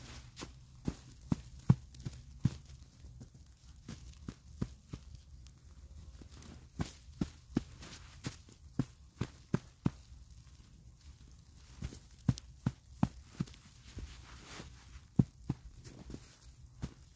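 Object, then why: Ball of packed snow patted between gloved hands. A medium, solid ball of packed snow is held between knit-gloved hands and patted and pressed by someone kneeling in snow. An uneven series of soft, muffled low thumps with brief crisp crunching clicks sounds over a quiet low rumble, each pat dying away almost at once.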